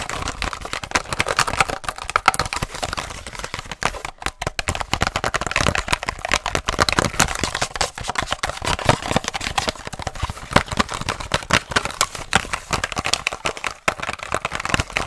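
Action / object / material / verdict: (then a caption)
tap / plastic blister pack on cardboard backing / plastic / none. Rapid, dense tapping and scratching from long nails and fingertips on a small purple retail blister pack, a plastic bubble on a printed cardboard card, held in hand close to the mic. The crisp clicks and scrapes come in a fast, continuous flurry with a bright, papery-plastic texture and almost no ring after each hit.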